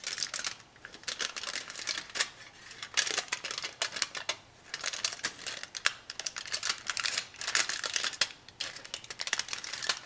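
A small torn sheet of thin aluminum foil, held in both hands, is crinkled and scrunched by fingertips and long nails. Dense bursts of sharp, bright crackling come in clusters, separated by brief quieter gaps, with almost no low end.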